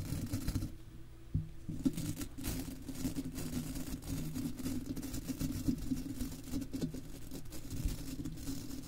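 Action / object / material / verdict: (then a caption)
scrape / wire-mesh microphone grille / metal mesh / none. The stiff bristles of a golf club cleaner brush scratch and brush across the silver wire-mesh grille of an uncovered microphone with a hollow, rounded head. The sound is a continuous, dense, muffled scratching and rubbing, mostly low and boomy. A steady hum sits near 260 Hz, with a few sharper scrapes standing out.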